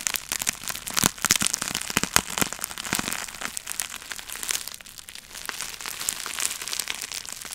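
A small wad of clear plastic bubble wrap with air-filled bubbles is held in the hands beside the microphone while fingertips pinch and pop the bubbles. Rapid, dry, bright snaps and crackles come thick and loud through the first three seconds, then ease into quieter crinkling with scattered pops. The sound is almost entirely high-pitched with very little low end.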